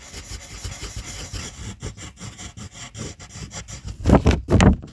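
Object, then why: Wooden colored pencil on paper sheet. A yellow wooden colored pencil rubs in steady strokes across a white paper coloring sheet, shading a letter. Soft, dry, scratchy rubbing repeats in a quick, loose rhythm, and two louder, heavier strokes come near the end.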